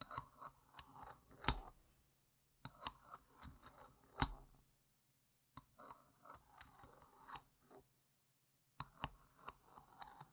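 Fingertips with long painted nails hold and move a single small, solid, round plastic poker-style game chip with a yellow rim and a printed gem sticker across a fabric mat, tapping and clicking it against neighbouring chips. Quiet, sharp clicks and soft scrapes come in three bursts separated by short silences, with a few brighter, louder taps standing out.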